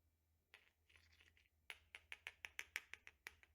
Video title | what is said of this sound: Perfect Vanilla Bourbon Rich And Creamy Crème Brûlée Recipe | hearing the crack of it where it kind of sounds like glass